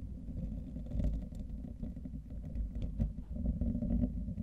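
Fingertips and short nails scratch and rub the rounded wire-mesh grille of a hollow, fist-sized condenser microphone head, with both hands cupped around it. The sound is a muffled, deep rumbling boom with fast scratchy friction and faint brief ticks scattered throughout, swelling louder in bursts near the middle and end.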